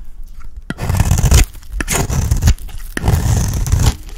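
A small metal knife blade scrapes and carves shavings from a round, cream-colored dry soap bar with a stamped logo, held in the hand. Three long, rough scraping strokes are heard, each starting with a sharp click and carrying a dense, low, crunchy rasp with faint bright edges, separated by short quiet gaps.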